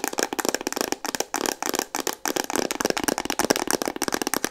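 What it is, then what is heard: Plastic instant camera tapped. Long painted nails tap fast on a hollow, hand-sized pink Instax Mini plastic instant camera. The result is a rapid, continuous flurry of dry, clicky plastic taps with bright edges, almost no low end, and no ring after each hit.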